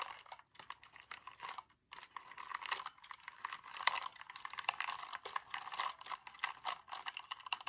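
Fingertips rapidly tap and press the keys of a compact, dark, hollow mechanical keyboard with plastic keycaps and a plastic case, held up in the air, in a typing-style flurry. The result is a dense stream of quick, dry, bright plastic clicks and clacks with no ring and no low end, briefly pausing about two seconds in before resuming.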